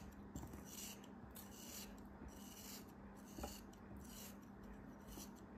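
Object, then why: Molded kinetic sand shape. A solid pink molded kinetic sand figure, held in the hands, is scraped and shaved with a metal utility knife. Soft, repeated rasping strokes come in bright, airy bursts over a low steady hum. A sharper scrape stands out near the middle.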